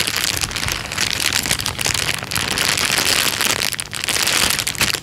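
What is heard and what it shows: A thin, clear, transparent plastic bag lying flat on a couch is pressed, tapped and rubbed with the fingertips. It gives a steady, bright crinkling and rustling with crackly texture throughout, with little low end.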